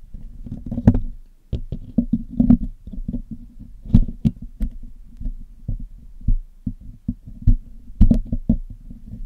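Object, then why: Metal mesh microphone grille picked with metal tools. A hollow black metal mesh grille on a Blue Yeti microphone is picked and cleaned with metal tweezers and a metal needle pick. A steady stream of short, dull, low-pitched taps and scratches comes through close up, with a few sharper clicks standing out. Each tap dies away almost instantly with no ring.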